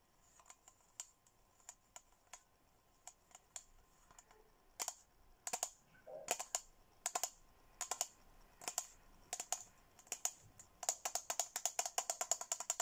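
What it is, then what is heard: Plastic tumbler. A hollow, handheld teal glossy plastic Hello Kitty tumbler is tapped with fingernails. The sharp, bright clicks have a high, thin ring that dies almost instantly. The taps start sparse, come in small clusters through the middle, and speed into a quick, steady run near the end.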